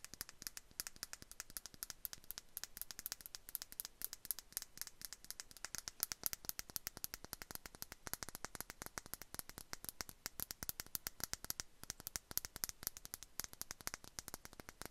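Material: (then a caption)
Glass. Long acrylic nails tap rapidly on a small clear glass perfume bottle with a decorative bow cap, partly filled with liquid. The result is a dense stream of quiet, crisp clicks with a bright, glassy tick and almost no ring, sounding close up in a small space.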